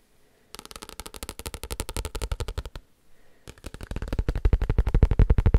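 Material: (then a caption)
Paper. A paper book is tapped in two quick bursts of rapid, dull, low thuds, separated by a brief pause of near silence. Each tap dies away almost instantly, and the second burst grows steadily louder toward the end.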